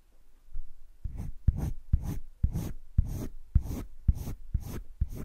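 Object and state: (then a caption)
Colored pencil shading on sketchbook paper. A yellow-green colored pencil held at the fingertips scratches and shades a heart outline across a sheet of cream drawing paper in a wire-bound sketchbook lying flat on a desk. Nine soft, dull scratching strokes follow one another in a steady rhythm, each a low rasp.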